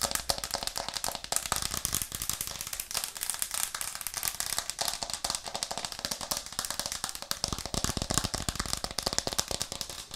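Long nails and fingertips tap rapidly on a white plastic cutting board with a green rim, held upright in both hands. The result is a dense, continuous stream of sharp, bright clicks and clacks with very short decay and little low end. About three quarters of the way through, the taps gain a fuller, deeper thud.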